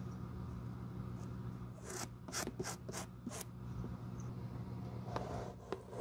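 A bristle glue brush is rubbed across a black, worn leather shoe sole studded with small metal nails, held in the hand. A quick run of bright, breathy brushing strokes is followed by a pause and a couple of sharper scrapes, all over a steady low hum.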